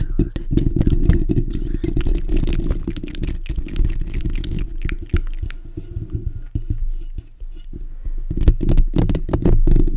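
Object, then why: Steel wire-mesh microphone grille. Fingertips and short nails of both hands scratch the bare steel wire-mesh grille of a black desktop condenser microphone with a hollow dome. It makes a rapid, irregular stream of scratchy strokes with a dense, boomy low rumble and bright crackling streaks on top. The scratching eases off around the seventh second, then returns louder near the end.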